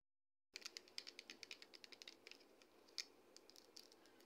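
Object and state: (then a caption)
Plastic shampoo bottle. A medium pale green plastic L'Oréal Pro Expert Volumetry shampoo bottle, hollow and likely partly full, is held upright and tapped with long red acrylic nails. After half a second of silence come about twenty quick, bright, clicky taps with almost no ring, some louder than others.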